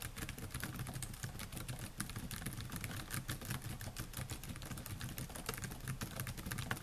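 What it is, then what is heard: Laptop keyboard with plastic keys. Fingertips type rapidly on the black plastic keys of a silver laptop, a solid device. A dense, continuous patter of short, bright clicks plays over a steady low hum.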